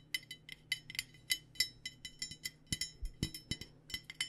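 Fingers or nails tap an aluminum water bottle in a quick, irregular run of about twenty light metallic clinks. Each tap is bright and short, with a ringing tone near 2 kHz that fades almost at once, over a faint low hum.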